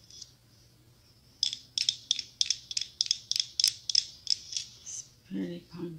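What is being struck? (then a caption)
Small hollow pumpkin ornament covered in glass mosaic tiles. Long acrylic nails tap and scratch a small hollow pumpkin ornament covered in glass mosaic tiles, held in one hand. After a faint early tick, about a dozen sharp, bright clicks follow in a quick, uneven series, each very short with almost no ring. The clip ends with two duller, lower-pitched sounds.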